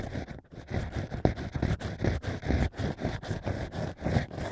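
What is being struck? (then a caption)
Natural wine cork stack scraped with a bamboo pick. Bamboo ear picks scrape inside the holes of a stack of natural wine corks. The result is a steady series of short, muffled scraping and rustling strokes, mostly low and dull, with little brightness.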